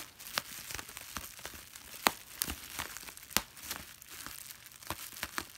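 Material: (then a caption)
Plastic film. A clear plastic bubble wrap sheet of small air-filled bubbles is held in both hands while the thumb and fingertips squeeze and pop the bubbles. Sharp, bright snaps burst out at irregular intervals over a steady, hissy crinkling of the plastic film. Each pop is a short crack that dies away almost instantly.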